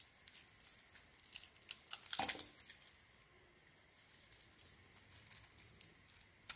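A metal blade shaves a small, solid white soap bar with a pink sequin and glitter coating, held in the palm, peeling off the coating and cutting into the soap. The sound is a bright, crisp series of crackling scrapes and tearing rasps with almost no low end, and the loudest, fullest cut comes a little over two seconds in. Quieter, softer scrapes follow, ending with one last sharp flick.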